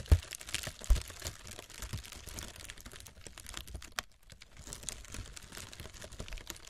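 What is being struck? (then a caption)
Honeycomb-cut kraft paper packing wrap. Long red acrylic nails scratch and tap across a roll of brown honeycomb-cut kraft packing paper lying on burlap cloth, its hollow loose layers giving off dense papery crinkles and rustles. Two stronger low thumps open the clip, followed by a steady stream of quick dry scratches and light taps with a brief quieter gap near the middle.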